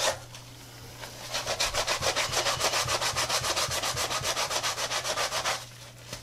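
A soapy brush scrubs the white midsole and toe of a tie-dye Adidas textile and rubber sneaker lying on its side on a counter. Rapid, steady back-and-forth strokes make a bright, bristly hiss that swells in the middle and fades to quieter brushing at the start and end, over a faint low hum.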